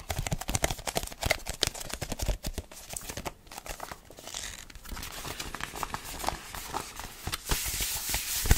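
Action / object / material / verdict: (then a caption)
tap / paperback book with card cover / paper / none. A small paperback Spanish phrasebook with a glossy card cover is tapped quickly and irregularly on its cover, giving short dry knocks. Softer papery rustling follows as the pages are riffled with the fingers, ending in a brighter, hissy flutter.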